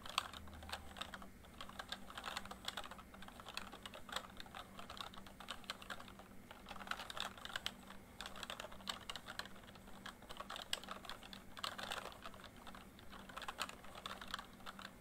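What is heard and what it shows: Fingertips of both hands type quickly on a full-size plastic MSI backlit membrane keyboard, giving a continuous stream of soft, short clicks with a bright edge. The rapid keystrokes come in bursts with brief pauses, over a faint steady low hum.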